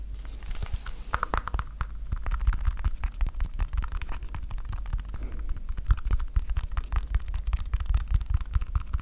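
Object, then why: Stack of PVC electrical tape rolls. A stack of small colored PVC electrical tape rolls (red, black, blue, white and yellow), set side by side into one solid cylinder, is held close to the mic while fingertips and nails tap and scratch the roll edges and surfaces. The result is a dense, continuous run of quick, dry, low thumps and scratches with almost no ring, deep and muffled rather than bright.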